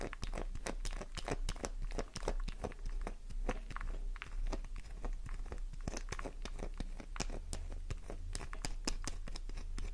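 A worn, solid pink flower-shaped bar of soap held in the palm is scratched rapidly with long nails, sending crumbs flying. A dense stream of sharp, crisp scratching and crumbling clicks, with bright edges, fills the clip over a steady low hum.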